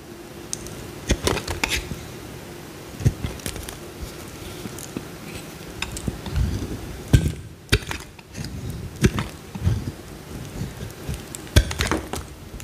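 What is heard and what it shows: A small solid white bar of soap held in the hand is carved with a metal utility knife blade, flakes coming off as it cuts. The clip is a quiet, irregular series of short, dry clicks and scrapes with a soft low body, a few sharper snaps rising bright, and a faint steady hum underneath.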